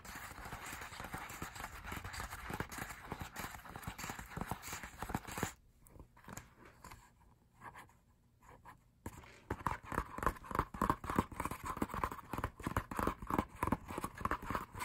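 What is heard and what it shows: Fingertips tap rapidly on the thin printed pages of an open paper album lyric booklet, making soft, dry, close-up papery taps. Midway through, the tapping drops to a quieter stretch while one page is turned. Then the brisk, uneven tapping resumes, slightly brighter and louder.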